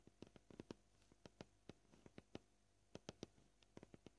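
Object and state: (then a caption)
Plastic cutting board. Short fingernails gently tap a flat, solid white plastic cutting board about 18 times at an uneven pace, some in quick clusters and others spaced apart. Each tap is a quiet, dry tick with a soft low-mid body that dies away almost instantly, over a faint steady background hiss.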